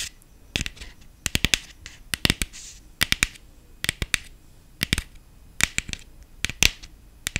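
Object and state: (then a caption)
Plastic decorative pumpkin. Long fingernails tap across the ribbed surface of a medium-sized black hollow plastic pumpkin with gold glitter dots, held in the hand. The result is quick, irregular bursts of sharp, bright clicks that die away almost instantly, with faint scratchy brushing between them and little low end.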